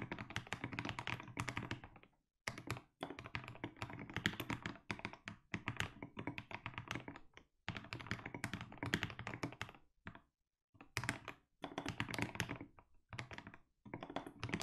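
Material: Plastic.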